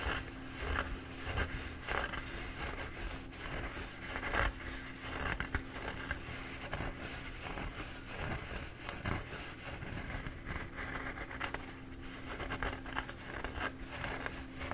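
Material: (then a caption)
Paper. A soft, hollow-cored, bee-printed embossed paper towel roll is held in both hands while fingertips and short dark-painted nails scratch along its surface. The result is a continuous, quiet, papery scratching with faint crinkling bursts over a steady low hum.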